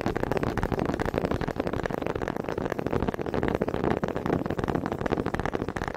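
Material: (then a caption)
Wood. Two small, solid wooden honey dippers with grooved heads are held in both hands with long red nails and knocked together in front of a microphone. The result is a steady stream of rapid, somewhat irregular dry wooden taps and clicks. Each tap dies away almost instantly, with a warm mid-range body and little high brightness.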